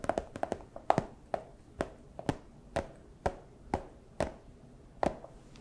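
A small, empty, clear plastic pouch is tapped with fursuit claws, giving short, dry, chopping-like taps with a hollow midrange knock and almost no ring. A quick, uneven flurry of taps in the first second is followed by slower, more evenly spaced ones.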